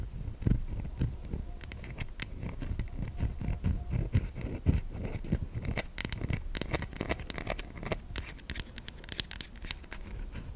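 A solid white bar of soap held in the hand is scratched by long nails, sending shavings falling off its surface. Dense, uneven scraping and crackling runs throughout, with many short, dry, bright scratches over a low rumble and no ringing.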